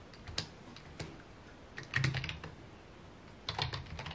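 Fingertips tap the keys of a full-size white and mint plastic computer keyboard with a hollow key housing, resting on a wooden desk. Irregular, sharp, bright clicks come singly and in short quick bursts, each with a hollow low thud beneath it, over a quiet background.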